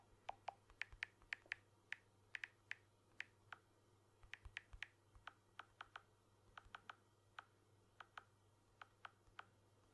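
A blue smartphone with a glass back and aluminium frame is held in one hand while fingertips tap and scratch its back and edges. About 29 quiet, sharp, dry taps land in an irregular rhythm, each a bright little click with a brief pitched ping near 1.8 kHz and almost no ring, over a faint low hum.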